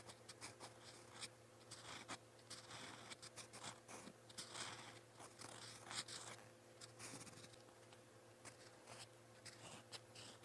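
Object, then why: Metal pen nib on a paper notebook page. A gold-toned metal fountain pen nib scratches across a lined white page of a spiral notebook, writing purple Korean letters. The sound is a quiet, bright, dry scratching made of many short strokes and taps that come in uneven bursts. A faint steady low hum runs underneath.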